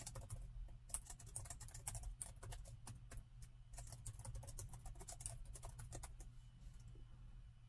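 Fingertips with short nails type continuously on the black plastic chiclet keyboard of an open silver laptop, a hollow device. Quick, dry, bright key clicks rattle out in uneven bursts over a steady low hum, each tap dying almost instantly.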